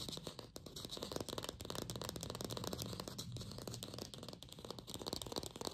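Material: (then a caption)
Plastic. A glossy red artificial apple, likely hollow plastic, is held in the hands and fast-tapped with long pink fingernails. A quiet, continuous stream of rapid, crisp clicking taps with short decay, a hollow low body and bright edges, continues throughout.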